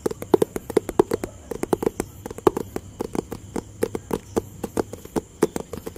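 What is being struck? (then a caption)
Cardboard box. A hollow, rectangular white, grey and blue cardboard product box is tapped quickly with fingertips and nails, giving dozens of short, dry, papery taps with a hollow, mid-low tone around 380 Hz. Each tap dies away almost instantly, and a faint steady high hiss runs underneath.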